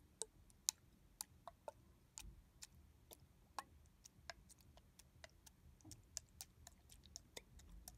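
Fingertips and nails tap on the back of a red translucent plastic body mist bottle with a barcode sticker, held sideways and filled with liquid. The taps come as a quiet, irregular series of sharp, dry, bright ticks that stop almost instantly, over a faint low rumble.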